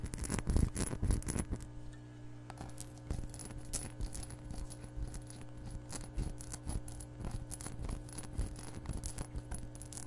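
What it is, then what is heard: Glass measuring cup tapped with nails. Long nails tap rapidly on the walls of an empty, hollow, clear glass measuring cup, making quick, uneven clicks and light rattles. The taps are loudest and densest in the first two seconds, then settle into a softer, steady patter over a constant low hum.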